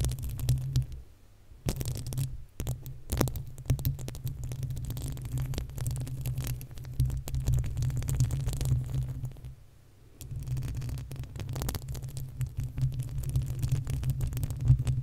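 Long acrylic nails on both hands scratch the uncovered, hollow metal mesh grille of a desktop condenser microphone. The result is a dense, throbbing, low rumble of rapid scraping, almost all of it deep bass around 130 Hz, with faint brighter crackle on top. The scratching breaks off briefly near the start and again around the ten-second mark before resuming.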